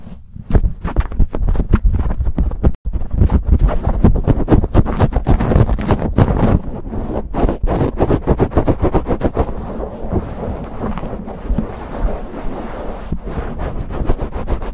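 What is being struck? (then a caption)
Foam microphone windscreen. Fingers and nails rapidly scratch and rub a black foam windscreen on a silver condenser microphone. The result is a dense, fast, irregular stream of muffled, bassy scraping and thumping with a deep low rumble. The high end stays dull throughout, and there is one brief dropout early on.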